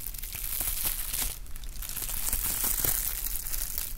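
A sheet of clear plastic bubble wrap, held in both hands, is crinkled and rubbed with fingers. The result is a steady, dense crackle of bright, papery crinkles over a low rumble, with short rustling bursts throughout.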